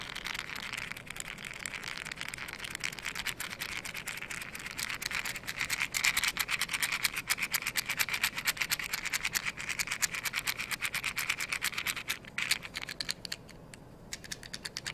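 A small, hollow, blue printed cardboard matchbox is held up and scratched and tapped with long yellow nails. Dense, rapid, crisp ticks and scratchy rubs run throughout, bright and papery with almost no low end. Past the twelve-second mark the texture thins to sparser, isolated taps.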